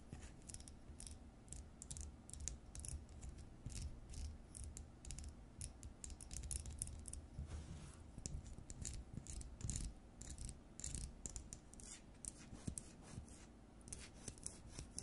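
Long nails rapidly tap and scratch an LED light bulb with a frosted plastic dome and a metal screw base. The result is a steady stream of crisp, bright clicks and scraping ticks over a soft low rumble, each tap dying away almost instantly.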